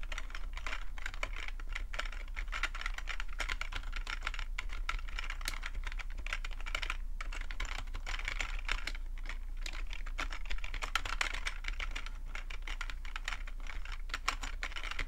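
Fingertips of both hands type steadily on a black full-size plastic computer keyboard resting on a fuzzy rug. The result is a continuous stream of quick, dry key clicks with a bright, clacky edge, over a steady low hum.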